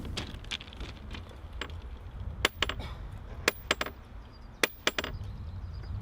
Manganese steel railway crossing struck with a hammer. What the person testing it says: le marteau ne rebondit pas comme il faut et on entend un bruit sourd